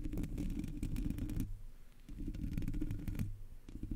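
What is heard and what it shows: Fingertips and long nails of both hands scratch the top of a Blue Yeti microphone's black hollow metal mesh grille. Dense, rumbling scratches, heavy in the low end, come in two long bursts separated by a quieter pause, with lighter scratching returning at the end.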